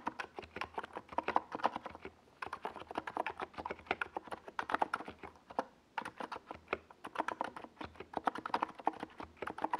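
Both hands type with their fingertips on a NiZ Plum Atom 68, a compact 68-key mechanical keyboard with a hollow white plastic case and purple and yellow plastic Domikey Gas Attack SA keycaps, resting on a desk pad. The result is a steady stream of short, dry, mid-pitched plastic clacks with bright edges, with brief pauses around 2.3 and 5.8 seconds.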